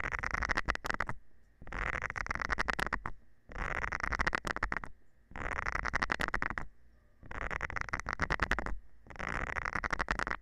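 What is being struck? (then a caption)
Silicone scrubber pad with nubs, scraped with a thin metal rod. A thin metal rod scratches across the nubs of a round green silicone scrubber pad held in the hand. It makes six bursts of dry, rapid rasping and ticking, each about a second long and separated by short pauses. A faint steady tone sits near 1.9 kHz throughout.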